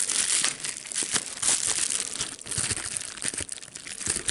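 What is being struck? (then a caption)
Plastic bubble wrap sheet. A small piece of clear plastic bubble wrap with air bubbles is held between the fingers while its bubbles are popped and crinkled. The result is a continuous, bright, dry crackling with sharp snapping pops scattered throughout and almost no low end.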